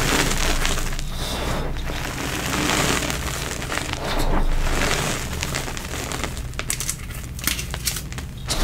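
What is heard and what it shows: Fingertips on both powder-coated hands with short orange-painted nails press, squeeze and crush soft clumps in a bowl holding a large mound of fine blue powder, holi powder mixed with crushed gym chalk. A steady, dense crumbly crunching with a low rumble underneath turns into sharper, crisp cracks with bright snaps toward the end as the clumps break into loose powder.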